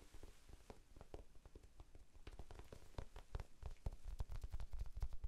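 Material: Foam.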